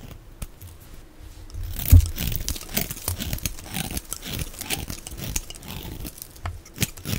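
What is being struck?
Bar of soap scraped with a knife blade.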